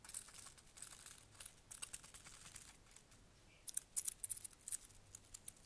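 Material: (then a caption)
Dried plant. A small bunch of dried white flowers on stems is held in one hand and crinkled and rubbed by the fingertips and nails of the other. Quiet, bright, dry crackles and rustles come in quick bursts, with a brief lull before a sharper, denser cluster of crisp snaps near the end.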